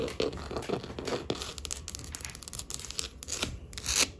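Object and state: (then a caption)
Wooden tabletop tapped and scratched with nails. Long acrylic nails tap quickly and scratch along the grain of a solid wood tabletop. The result is a steady stream of crisp, dry clicks and scrapes, bright and papery in tone, with each tap dying away almost at once.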